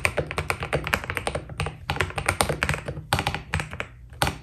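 A white Keydous NJ80 mechanical keyboard with PBT keycaps is typed on with the fingertips of both hands. It gives a rapid run of short, dry keystrokes, each with a low thock and a bright click that dies away almost at once. The typing has brief pauses near 1.7 and 3.9 seconds.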